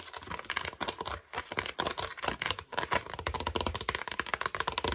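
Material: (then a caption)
Plastic. Long nails tap and scratch quickly across the base and sides of an empty, cream, hollow plastic storage basket with slotted sides, turned upside down and on its side. The result is a rapid, uneven run of sharp, dry clicks and brief crinkly scrapes with bright edges and almost no ring.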